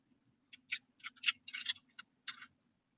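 Lightweight orange and black beads are tapped together in seven short, bright clicks, crisp and high-pitched with almost no ring. The light, dry clatter shows the beads are plastic, not wood.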